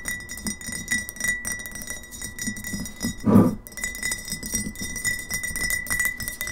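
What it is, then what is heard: Glass bottle, fast fingernail tapping. Long fingernails tap quickly on both sides of a partly filled glass kombucha bottle standing upright on a table. The result is a dense run of light, clinking glass ticks with short ring, a steady thin tone near 2 kHz, and one louder, fuller knock about halfway through.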